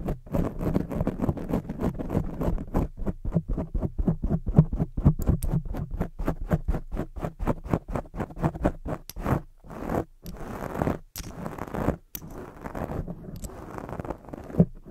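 Long jeweled acrylic nails from both hands scratch fast over a soft, porous black foam microphone windscreen. The result is a dense stream of quick, muffled scratchy rustles, heavy in the low end. A few brief gaps break up the scratching toward the end.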